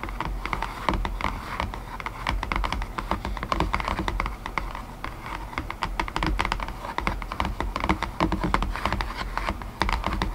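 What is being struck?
Cardboard box tray.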